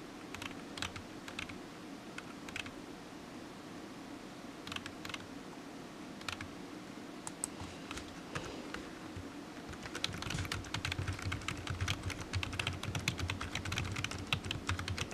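Fingertips of one hand type on a solid, black, low-profile plastic computer keyboard resting on a desk mat. Sparse, short, bright key clicks with a soft low thud under each press fill the first ten seconds. The typing then picks up into a quicker, denser, slightly louder run of clicks.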